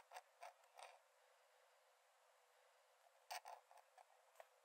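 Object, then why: Paper sketchbook page under a metal pen nib. A metal nib in a wooden dip-pen holder scratches thin lines onto the cream paper page of an open sketchbook lying flat on a dark desk while drawing. Short, dry, creaky scratches come in a few bursts near the start and a tighter cluster near the end, with quiet hiss between. The sound sits around 700 Hz with bright, high edges and almost no low end.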